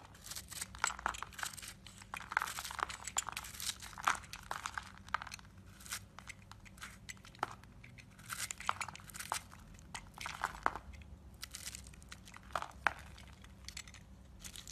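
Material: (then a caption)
Soap. A yellow utility knife scrapes and chips pieces off a hand-sized, solid black-and-white marbled bar of soap held in the hand. Dense, dry, crinkly scraping is broken by frequent sharp, bright crunching clicks that die away almost instantly, over a faint steady low hum.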